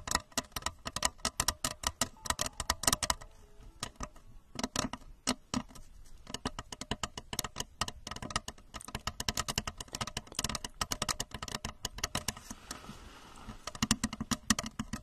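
Long acrylic nails of both hands tap and scratch the outer shell of a tall, hollow, blue translucent plastic rocket-shaped lamp on a red plastic base, set over the mic. Quick, dry, bright clicks come in dense flurries with soft scratching between them, each tap dying away almost instantly.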